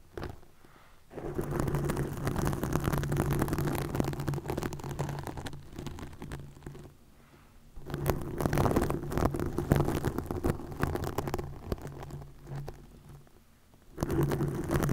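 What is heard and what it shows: Long nails scratch a green plastic mesh net stretched over a microphone, producing dense, rustling, crackling scrapes with a steady low buzzing hum underneath. The scratching comes in three bursts separated by brief near-silent pauses.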